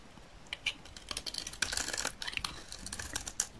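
A utility knife blade scrapes and shaves the surface of a hand-held, solid green dry soap bar with a red edge, peeling it into curls. The sound is a run of crisp, dry, bright scraping ticks and brief rasps over a quiet background, each cut ending almost immediately with no ring.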